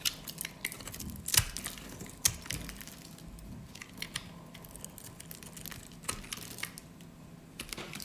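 A metal utility blade scrapes scored slivers and cubes off a solid pink rectangular bar of dry soap held in the hands. Irregular, bright, crisp crunches and scratchy crackles are heard, with the sharpest snaps early on. They are followed by softer, steady scraping.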